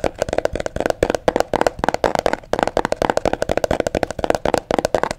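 Long fingernails tap and scratch the flat sides of a small, hollow, apparently empty mint green cardboard box held close to the microphone. A rapid run of about 29 crisp, dry taps carries a hollow mid tone near 600 Hz, with brief scratchy bursts in between. Each tap dies away almost instantly.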